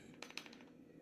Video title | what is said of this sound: Byrna SD update for everyone | I'd shake it around and I H rattling noise